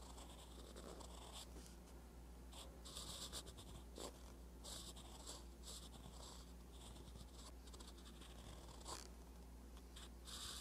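A metal fountain pen nib scratches across a flat page of a spiral-bound paper notebook while writing. Soft, continuous scratching comes with bright bursts of stroke noise over a steady low hum, and a few sharper strokes stand out.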